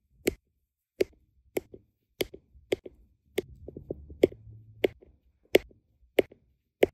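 A plastic drill pen with a metal tip taps small, solid, round resin diamond painting drills into place on a flat adhesive canvas. Twelve sharp, dry clicks with a bright edge land at an uneven pace, each fading almost instantly. Soft fainter ticks and a light rustle fill the gaps, especially in the middle of the clip.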